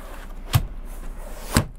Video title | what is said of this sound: 2021 Freightliner Cascadia In-depth Review & Tour (Exterior, Interior, New Features, Upgrades) | cuando estoy sacudiendo este gabinete, no estás escuchando crujidos y golpes